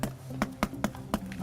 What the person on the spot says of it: 기둥을 두드려 보니 속이 텅 빈 소리가 납니다.